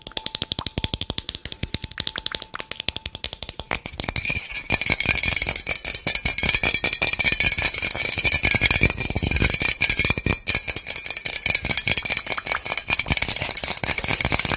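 A small white plastic bottle with loose contents is shaken by hand and held sideways close to the microphone, making a bright, crisp rattle. For the first four seconds it gives sparse, quieter clicks over a faint steady tone, then builds into a loud, dense, continuous rattling that lasts to the end.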